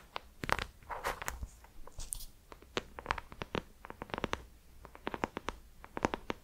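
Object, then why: Embossed hardcover notebook cover. Long nails scratch and tap the textured embossed gold cover of a small ornate hardcover notebook held up in the air. Quick dry clicks, some in close bursts, mix with brief rough scratching strokes that carry a bright hiss.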